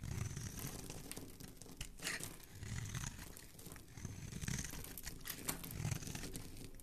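A metal blade scrapes and shaves curls and flakes off the surface of a solid, palm-sized blue oval bar of Dial soap held in the hand. The sound is a continuous, dense run of soft crinkling, crunching scrapes with a low body and bright, airy flecks, swelling and easing in quick strokes throughout.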